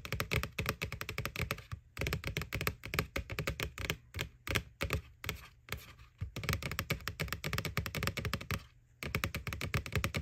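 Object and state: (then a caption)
Plastic Halloween bucket. Fingernails tap rapidly on the front wall of a white, hollow plastic McBoo Halloween bucket, giving dense bursts of short, dry clicks with a hollow low thump underneath. Brief pauses break up the tapping, and the clicks die away almost instantly.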